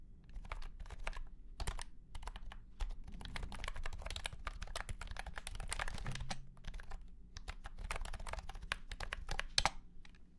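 Fingertips of both hands type on a white and pink cat-shaped keyboard with round plastic keycaps set in a hollow plastic case. A steady run of quick, bright clacks sounds over a low, hollow body thud, with a slightly louder strike near the end.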